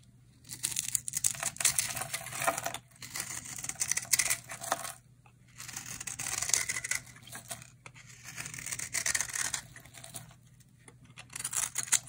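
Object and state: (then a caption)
Dry bar soap being carved. A utility knife blade shaves and carves flakes off a solid, hand-sized bar of dry orange soap with a cracked surface, held in a hand with long red nails. Bright, crisp scraping and crackling bursts come in long strokes separated by short quiet pauses, over a faint steady low hum.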